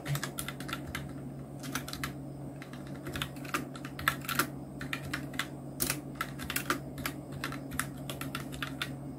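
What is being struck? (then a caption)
Plastic mechanical keyboard. Fingertips of both hands type on a full-size black Nubwo Illution NK-70 mechanical keyboard with Outemu red switches, round plastic typewriter-style keycaps and blue backlight, resting on a white desk. A steady stream of quick, bright plastic key clacks comes in irregular bursts, with a few louder strokes. A constant low hum runs underneath.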